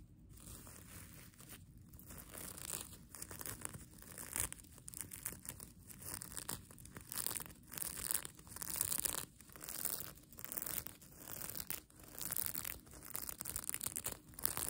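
Long nails scratch and pinch the plastic sequins of a mermaid tail blanket with a red lining edge. A bright, crinkly rustle and scratching rises and falls in short repeated bursts, with a crisp high sheen over a soft low rumble.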